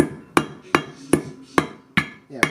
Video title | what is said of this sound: E46 XI Wheel bearing replacement Tips and Tricks | Once you hear that solid sound, you know you got it on there.